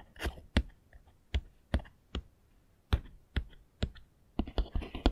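Fingernails tap and click on the roof and walls of a small, hollow, castle-style Harry Potter 3D puzzle building made of foam-backed printed pieces, lying on a table. Short, dry clicks with a dull, low knock arrive at irregular intervals and die away almost instantly. They speed up into a quick flurry at the end.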